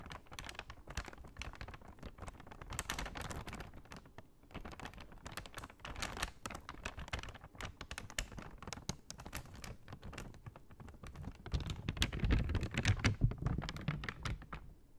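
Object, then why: Kraft paper shopping bag. Long painted nails tap and scratch the front of a large, flat, empty brown kraft paper Michaels shopping bag held upright. The result is a dense, irregular run of quick dry taps and papery scratches with a low, muffled body and brief crinkly rustles. It swells to a louder, busier stretch near the end.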